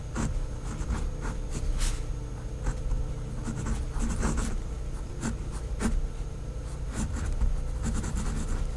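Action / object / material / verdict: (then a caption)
scrape / pen on paper notepad / paper / none. A pink pen tip writes words in cursive on a white lined paper pad, making soft, bright scratching strokes across the paper surface. Brief bursts of scratching come and go over a steady low hum.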